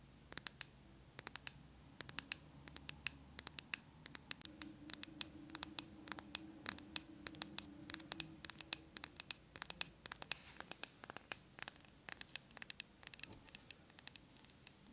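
Long nails tap and scratch a small glass jar candle filled with green wax. The result is a steady stream of dozens of sharp, bright clicks and scrapes, each dying away instantly. A faint low murmur runs underneath.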